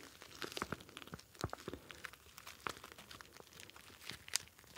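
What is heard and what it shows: A hand-sized, clear plastic gel bead ice pack filled with blue gel beads is kneaded and squeezed with the fingers, shifting the beads inside. Quiet, irregular crinkling and crunching pops with bright plastic rustle fill the clip, peaking in a sharper crackle near the end.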